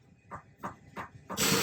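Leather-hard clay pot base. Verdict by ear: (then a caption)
Thinner. A leather-hard clay pot is flicked on its base after one spiral ring has been trimmed out of the inside, leaving the base thinner. Four short, dull taps sound, each fading in about a tenth of a second, with the last running into a loud, hissing broadband noise. The taps sound different and lower than before, shifting from a sharp "tick" toward a deeper "dung" as the base thins.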